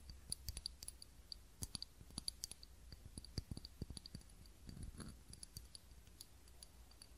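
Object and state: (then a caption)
Glass tealight holder. Fingernails tap and click on a small clear ribbed glass cup holding a lit tealight candle, held in both hands. Dozens of quick, sharp clicks come in uneven bursts, each with a brief bright, high glassy ping that dies away almost at once. A faint steady low hum runs underneath throughout.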